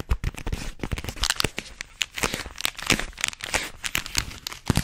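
Long fingernails scratch and tap along a long, hollow, white cylindrical roll, likely rolled paper, held in both hands. The result is a dense run of crisp, crackly scratches and dry taps with a bright papery edge and a low hollow thump underneath. Each one stops short with no ring.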